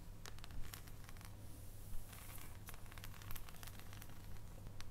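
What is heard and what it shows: Long painted nails tap and scratch the segmented top of a solid, unwrapped dark chocolate bar held up over its foil wrapper. Quiet, irregular dry ticks and crisp scratchy rustles sound over a steady low hum.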